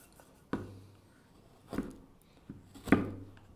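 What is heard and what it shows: A gouge makes scraping cuts into the outside of a hand-held wooden kuksa cup with a hooked handle, leaving a faceted texture on the bowl. Short, dry wooden scrapes with sharp onsets fade quickly, separated by quiet pauses, and the last is the loudest.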